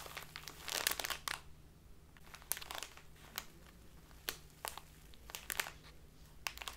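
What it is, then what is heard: Plastic bag of loose tea being crinkled. A full plastic bag of dark loose tea is squeezed and crinkled in both hands. Bright, dry crinkling bursts come in irregular clusters, with a dense rustle early on and sharper snaps later, over a faint low hum.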